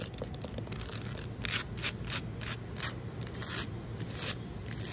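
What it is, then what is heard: Concrete ledge scratched. Long nails scratch a large, solid outdoor concrete ledge in a series of short, bright, gritty strokes. Each scrape is a burst of high hiss over a low steady rumble, and the strokes come in a quick, uneven rhythm.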